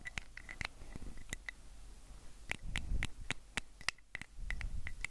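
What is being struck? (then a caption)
Small plastic pill bottle. Fingernails scratch and tap along the side of a small, hollow amber plastic prescription bottle with a white cap, held close to a recorder. Sharp, irregular clicks and taps, each with a brief bright tone near 2 kHz, sit over soft, low scratchy rustling.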